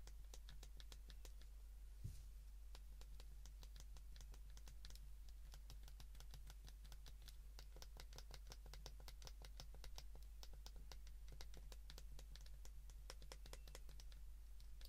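Keypad buttons on a white plastic flip phone held in the hands are pressed rapidly with the fingertips of both hands. The result is a fast, continuous patter of short, bright clicks that die away quickly, over a steady low hum, with one slightly louder thump near the start.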